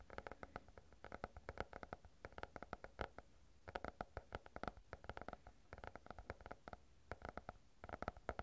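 A stack of paper banknotes is held close to the microphone and bent, crinkled and rubbed with the fingertips. Quick bursts of dry, crisp crackles come in clusters, separated by brief quiet pauses, over a soft low handling rumble.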